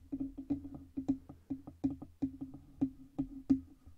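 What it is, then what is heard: Hollow metal microphone body tapped with fingernails. Long red nails tap the sides and stand of a black Blue Yeti USB microphone, which has a hollow metal body and stand. About sixteen quick, dry knocks are heard in an uneven rhythm. Each knock has a short hollow ring at a steady pitch of about 266 Hz.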